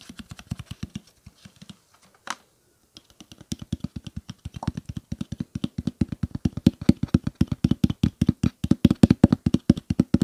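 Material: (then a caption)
Plastic. Fingertips rapidly tap a clear plastic water bottle with a blue cap, partly filled with water and held at an angle. Dozens of short, dry, hollow thuds sit low in pitch, with a brief pause and a single brighter tap near the start. The tapping then resumes, growing steadier and louder toward the end.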